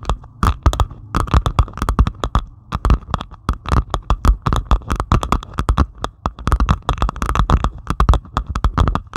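A flat diamond painting canvas covered in small plastic resin drills lies on a table and is scratched and tapped with the long pointed acrylic nails of both hands. Rapid, dense, irregular clicks and taps come with brief scratchy rasps. Each short, dry hit has a dull low thump and a steady bright clicking tone around 1.2 kHz.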